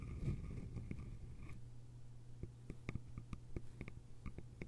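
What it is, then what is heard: Bamboo lidded container. Long nails tap the sides of a small, hollow, cylindrical bamboo container with a lid, making a quick run of dry, sharp clicks that die away almost instantly. The early taps blur into a soft, hollow ringing, and the later ones stand apart as crisp, separate ticks. It is all quiet, over a steady low hum.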